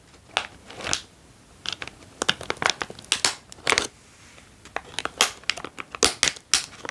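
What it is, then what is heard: Foil-lined plastic snack bag, crinkled. A hand-sized, foil-lined plastic Californian Almonds snack bag, opened and mostly empty, is crumpled and crinkled with the fingertips of both hands. It makes bursts of bright, sharp crackling crinkles with short quiet gaps between them. The sound is almost all high with very little low end.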